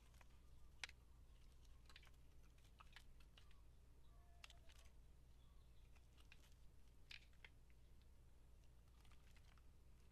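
A metal blade shaves curls from a solid white soap bar with gold flecks held in the hand. Quiet, short, crisp scraping ticks with a bright edge come irregularly over a steady low hum. One sharper snap stands out near the start.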